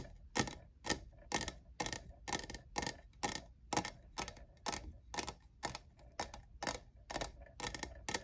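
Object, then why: Plastic tumbler. Fingernails tap the sides of a hollow lavender diamond-textured plastic cold cup. They make a steady run of sharp, dry, clicky taps with a bright edge. Each tap dies away almost instantly, leaving a faint low hum between them.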